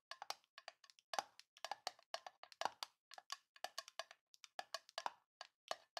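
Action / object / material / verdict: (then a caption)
tap / small tin metal box / tin / none. A small, hollow, rectangular printed tin box with a Grinch design is held in both hands and tapped and scratched with long painted nails. About 36 quick, dry, clicky taps come in uneven bursts over six seconds. Each tap is bright and mid-pitched, with almost no ring and no low thump.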